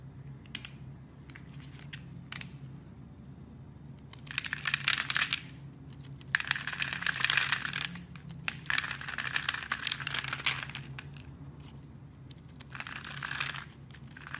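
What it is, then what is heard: Bar soap being carved. A utility knife blade carves a hand-sized, solid black bar soap with white stripes, pre-scored into a grid and held in a hand with long red nails, scraping off small cubes. Bursts of bright, crisp scraping and crunching come in several long passes, with sharp little clicks and snaps between them over a faint low hum.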